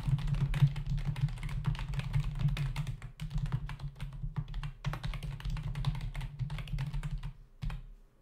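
Both hands type with their fingertips on a black plastic membrane computer keyboard resting on a desk, its hollow body and plastic keys giving rapid, uneven taps. Each press lands as a short, dull, low thud with a brief clack and almost no ring. The typing runs steadily for most of the clip, then thins out and ends with one last tap.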